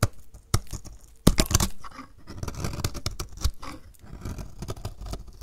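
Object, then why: Bar of soap scraped with a blade. A hand-sized bar of dry purple-and-white striped soap is held in one hand and scraped with a snap-off utility knife blade, shaving off curls. Short, dry scraping and crackling strokes come in uneven bursts, with a few sharper clicks and snaps among them and almost no ring after each.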